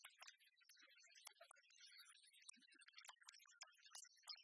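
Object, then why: Large metal coin replica. An oversized, solid-metal, copper-coloured penny replica is tapped with fingernails while lying flat on a wooden table, then held up and scratched across its embossed face. The result is a quiet, irregular stream of quick, bright clicks and dry scratching, mostly high-pitched, with each tap dying away almost at once.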